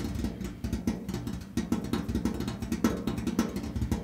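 Fingertips and nails of both hands tap rapidly on the large, flat, painted steel lid of a top-loading washing machine. The lid is hollow, and the taps make a dense, uneven patter of short, hollow knocks centered on a low tone around 240 Hz. Each knock dies away almost at once, with very little bright content.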